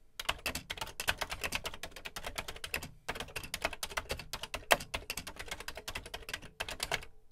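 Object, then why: Plastic home computer keyboard. Fingertips type steadily on the dark plastic keys of a beige plastic Commodore VC 20 home computer keyboard, producing a rapid run of dozens of short, bright clicks and clacks. Each keystroke is crisp, with a light low thump and almost no ring. There are brief pauses near 3 and 6.6 seconds.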